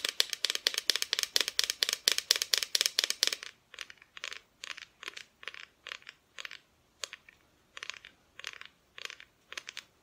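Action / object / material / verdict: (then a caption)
tap / thin plywood Christmas decoration tapped with fingernails / plywood / none. Long nails tap on a flat, thin, solid plywood Christmas decoration cut-out with a painted front. A quick, dense run of bright, dry clicking taps fills the first three and a half seconds. It then gives way to softer, sparser taps separated by short silences, each tap dying away almost instantly.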